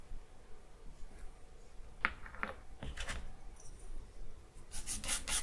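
A charcoal stick is rubbed along the lower edge of a sheet of white drawing paper, producing dry, scratchy strokes over a quiet low rumble. Short rasping scrapes come in scattered bursts through the middle, then turn into brighter, louder strokes near the end.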